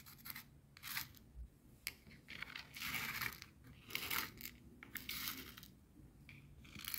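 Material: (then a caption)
Salt crystals. Clear coarse bath salt grains on a white plastic cutting board are stirred and scraped with the tip and then the side of a wooden skewer. Bright, gritty scratching and crackling come in uneven bursts, with short, quieter gaps between the strokes.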